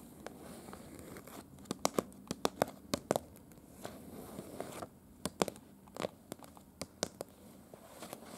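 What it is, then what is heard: Paper map (tapped and scratched). Long pointed dark-red nails scratch and tap the surface of a large printed paper city map of Prague, a thin, slightly crinkled sheet. Sharp, dry clicks of the nails on the paper stand out over a soft, continuous crinkling and rustling.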